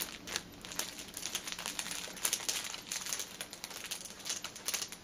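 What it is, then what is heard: Plastic-wrapped tissue pack, crinkling. Long painted nails tap and scratch the top of a stacked six-pack of paper pocket tissue packets wrapped in cellophane plastic film, lying on a table. The result is a steady run of quick, bright crinkles and clicky taps, almost all high-pitched with very little low end, each sound dying away almost instantly.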